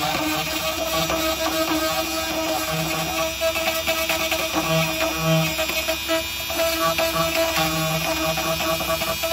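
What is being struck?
Nothing is struck.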